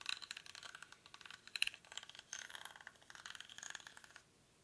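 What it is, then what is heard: Woven rattan basket being scratched. Fingernails scratch the weave of a small, hollow woven rattan/reed basket held in both hands, with its contents not visible. Dense, bright, crackling scratches and quick rattling clicks come in bursts with almost no low end. The sound stops near the end, leaving only faint background hiss.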